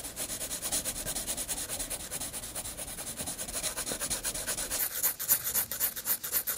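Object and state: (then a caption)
Pencil hatching on paper. A graphite pencil makes fast hatching strokes across a flat white paper page of a spiral sketchbook. A rapid, steady rhythm of dry, bright scratchy rubs carries mostly high hiss with little low end. The strokes grow louder and crisper toward the end.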